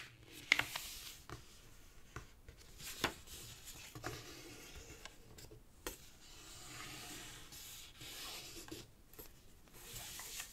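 Fingertips rub firmly along the folds of a green origami paper sheet, folded into a flat rectangle on a black cloth-covered table, to sharpen the creases. The result is a quiet, bright, dry rubbing hiss broken by a few short, sharp paper crackles.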